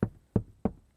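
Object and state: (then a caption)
Sound-deadened vehicle door, solid. Four knocks on the aluminium door of a custom Land Rover Defender 110 Double Cab build, sound-deadened with three layers of butyl rubber, a layer of foam and a spray compound. Each knock is a short, dull, low thud that dies away almost instantly with no ring. The door sounds solid, like knocking on lead, rather than tinny like original Defenders.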